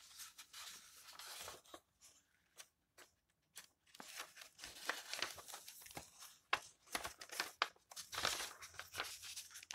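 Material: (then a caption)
Paper. Fingertips rub across the yellowed paper pages of an open old book and flip them over, making quiet, dry, bright rustles and crinkles. Soft brushing strokes and sharper page-turn snaps come in short bursts, with a near-silent pause early on before the rustling resumes more strongly.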